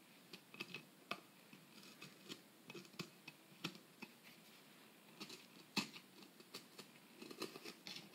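A metal pick scrapes and chips at the surface of a solid plaster dig-kit block, digging out a dusty excavation hole. Quiet, irregular short scratches and sharp ticks come in uneven bursts, bright and gritty with little low end, each dying away almost at once.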